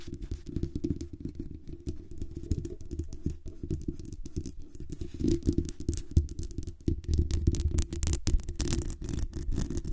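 Long nails scratch and tap the sides and top of the hollow metal mesh grille on a black USB condenser microphone. The result is a dense, continuous run of rapid, muffled scratching and tapping, heavy in low rumbling tones, with brief brighter, crisper scrapes toward the end.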